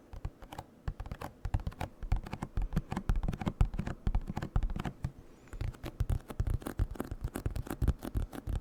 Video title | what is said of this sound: ASMR Eating DELICIOUS Cream Cheese Wontons Mukbang (Whispered Rambling & Box Tapping) | This is a good box for tapping. It's a little bit of a thicker cardboard, whatever. Good box for tapping.